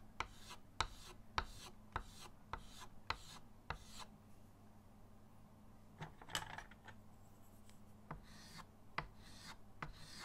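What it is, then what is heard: Chalk rubbed on a framed chalkboard. Pink chalk, then blue chalk, is rubbed in shading strokes across a flat, solid chalkboard in a wooden frame resting on a table. Dry, scratchy rasping strokes repeat at an uneven pace, each starting with a sharp tap that gives a bright edge. A steady low hum runs underneath.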